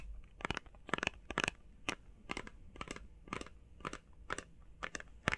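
Long painted fingernails tap fast on a small, hollow, printed cardboard face mask box with Sonic artwork. The taps come in quick, uneven clusters of dry, crunchy clicks with a bright edge and almost no ring, against a faint low hum.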